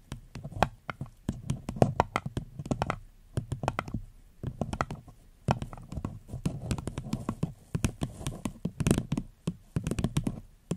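A small, empty, floral-printed paper cup with a gold rim sits upside down over a fluffy mic cover and is tapped and scratched with long pink nails. The result is clusters of quick, dull, muffled taps with a low, hollow body and almost no ring, mixed with faint scratching and short pauses between bursts.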